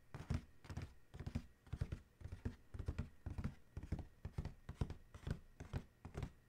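Fingertips of one hand, then both hands, tap rapidly on the closed lid of a large, hollow black cardboard Adidas shoe box. The taps come in quick, uneven bursts of dull, hollow low thumps that stop almost at once, with little high-end brightness.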